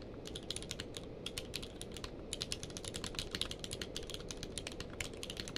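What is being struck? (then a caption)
Plastic mechanical keyboard. Both hands type rapidly with their fingertips on a full-size mechanical keyboard with a blue-grey case and white and grey plastic keycaps, lying on a blanket. A dense, steady run of short, bright clicky key presses, with a peak near 3.6 kHz, sits over a constant low hiss. Each click dies away almost instantly.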